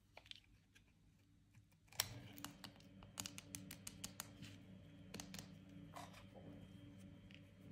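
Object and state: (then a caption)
Dry bar soap being cut. A utility-knife blade cuts and scrapes pieces off a solid, dry, partly carved white bar of soap held in the hand. It makes a series of crisp, bright clicks and snaps that stop almost instantly, over a steady low hum.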